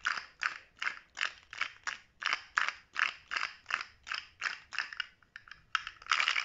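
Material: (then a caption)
Plastic. A small rainbow-segmented plastic articulated slug fidget toy with a blue head and hollow segments is held in one hand while the fingertips of the other hand flick and click its segments. This makes a steady series of quick, dry ratcheting bursts with a bright, clicky tone centered around 1.6 kHz and almost no low end. The bursts come roughly every third of a second and pause briefly near the end before a denser flurry.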